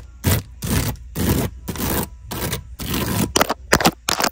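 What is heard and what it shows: Long acrylic nails scratch and tap across the woven strands of a hollow, brown wicker basket whose weave looks like resin or wood strips. The result is a series of rough, crackly scraping strokes with broad, bright texture, ending in quicker, sharper taps and scratches near the end.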